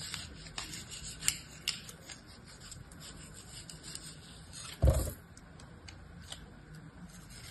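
A utility-knife blade slices and scrapes through a hand-sized star of packed, solid, dense, damp-looking kinetic sand held inside an orange plastic cookie-cutter mold, working along the mold edge. The result is a quiet, grainy rubbing and scraping with faint bright ticks, broken by one louder, fuller scrape near the five-second mark.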